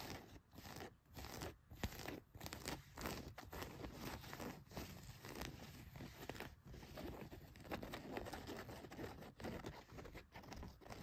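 Long nails scratch across the back pocket and pocket stitching of a pair of blue denim jeans. A steady, rough, crunchy scraping runs throughout, broken by brief quieter pauses between strokes, with a soft low rumble beneath and a bright fabric rasp on top.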